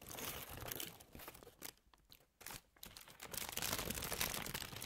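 A thin white tissue or paper napkin sheet is held in both hands and crumpled and crinkled with the fingertips and long nails. The result is a dense, bright crackling and rustling that briefly quiets to soft scattered crinkles midway, then swells back to full, busy crunching.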